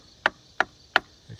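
An ice pick taps a wooden log home wall three times, giving short, sharp, dense knocks with almost no ring. The wood sounds solid and sound.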